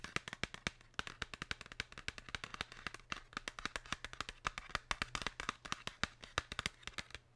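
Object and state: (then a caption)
Cardboard chocolate box. Long pink nails tap the front face of a flat, thin Lindt Excellence 99% cacao cardboard box holding the chocolate bar, producing a quick run of about fifty sharp, dry, bright clicks with no ring. A faint steady low hum sits underneath throughout.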